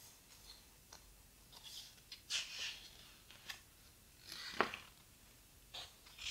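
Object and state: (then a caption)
Heavy paper book pages being rubbed and turned. Fingertips and long nails rub and turn the heavy paper pages of a large open hardcover photo book. Quiet, bright rustles and soft scrapes come in short, separate bursts, with a few louder page swishes and one sharp crisp tick near the end. There is almost no low end.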